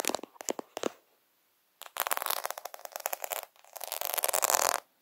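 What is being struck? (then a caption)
Plastic half-pearl sticker sheet. Fingertips and nails scratch and rub the beads of a plastic faux half-pearl sticker sheet held over a lens. Quick, dry clicking taps come first, then a pause, then dense, crackly scraping bursts with a bright, raspy texture. The sound ends with a final tap.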